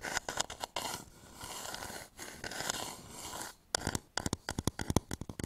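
A medium turned wooden bowl, hollow and empty, is held upside down above a microphone while fingertips and nails work its outer surface. A few quick taps give way to a long, soft, broadband scratching and brushing texture, then a run of sharp, dry, close-miked taps with almost no ring, each with a low woody thump and a bright click.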